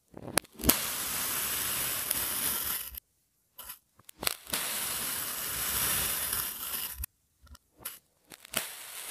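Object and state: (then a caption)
Kinetic sand mold being sliced. A long, thin metal blade presses down through a flat, solid blue kinetic sand sun mold, slicing it again and again. Each long, steady cut makes a bright, grainy hiss that lasts a couple of seconds. Short crunchy bursts fall between the cuts, separated by silent gaps.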